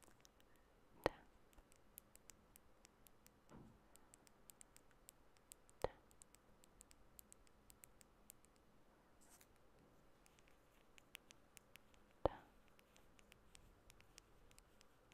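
Long bare natural fingernails softly tap a small clear glass nail polish bottle with a black cap, partly filled with clear liquid. The result is quiet, very short clicks with almost no ring, scattered irregularly, with a few sharper taps standing out among many faint ones.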